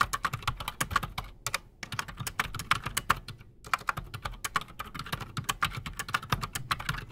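A full-size black Redragon mechanical keyboard with PBT plastic keycaps and silent switches, solid on a desk, is typed on quickly with the fingertips of both hands. Dense, rapid clicky-thocky keystrokes with a bright attack and a clear tone around 1 kHz fill the clip, pausing briefly twice before resuming.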